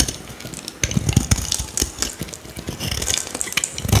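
A palm-sized, hand-held solid green oval bar of Fruitale soap is carved and scraped with a metal utility-knife blade, curling shavings off its surface. It makes a run of crisp, dry scraping and shaving strokes with bright, hissy edges and soft low thuds as the blade bites in, each stroke stopping short with almost no ring.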